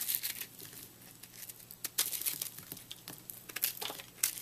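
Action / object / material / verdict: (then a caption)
scrape / puffed soap chunk / soap / none. A utility knife blade slices through a porous, crumbly, airy chunk of microwaved, puffed purple soap held in the hand. The result is a quiet run of bright, dry crackling and crinkling crunches in irregular bursts, with almost no low end.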